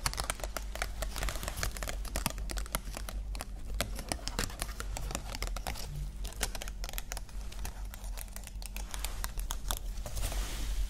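Long nails tap and scratch rapidly across the wings of a small green plastic butterfly ornament, making a dense run of quick, dry clicks and crinkly scrapes with bright edges. A steady low hum sits underneath throughout.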